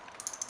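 A steel bolt from a Russian Tula SKS rifle is shaken up and down, and its free-floating firing pin gives off a quick run of bright, high-pitched metallic clicks. The rattle shows the pin is moving freely, as it should. Without this sound, the pin could be stuck forward and cause slam fires.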